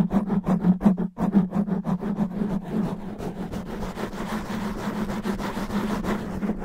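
Fingertips and nails scratch fast and roughly across a black foam microphone windscreen. Quick, rhythmic rasping strokes come in distinct bursts at first, then blur into a continuous, dense scrubbing texture over a steady low hum.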